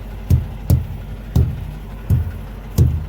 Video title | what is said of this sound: Pretrip its easy as 1 2 3..really | you want to hear that nice solid sound